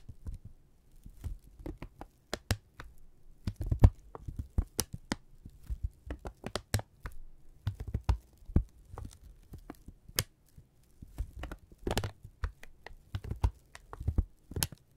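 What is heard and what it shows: A thin brown kraft paper strip is held in both hands and crinkled, stretched and rubbed with the fingertips. The result is a close, quiet run of dry crackles and sharp snaps. The sounds are weighted low with a faint bright edge, each dying away almost instantly.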